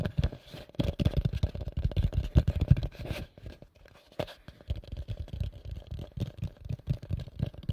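A pale yellow, medium-size plastic bowl, hollow and empty, is held upside down and tapped and scratched with nails and fingertips. The result is a rapid stream of dull, low, thumping taps mixed with soft scratching, with a brief quieter stretch in the middle before the fast tapping resumes.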